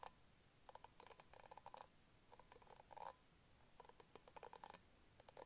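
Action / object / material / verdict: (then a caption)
scrape / plastic bristle hairbrush / plastic / none. Fingertips and nails scratch and flick the pink bristles of an orange plastic hairbrush held up close. The result is quiet clusters of short, crisp ticks and rasps centered around 800 Hz with a bright, crackly edge, coming in bursts separated by brief pauses.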